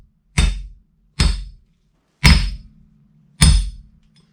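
A steel bearing race is driven into the second side of a front wheel hub from a Mercedes W124 with four separate heavy strikes. Each blow is a deep, low thunk with a bright metallic crack on top, and the last two ring on slightly longer with a faint hum. The change in sound shows the race has bottomed out and is fully seated.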